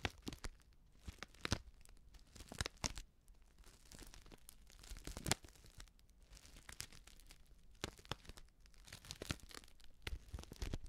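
Long nails scratch and crinkle a small, filled Betty Bossi Fladli instant soup packet made of plastic foil. Quiet, irregular bursts of crisp crackling and scratchy, tearing-like rustles stop short with no ring, over a soft low rumble.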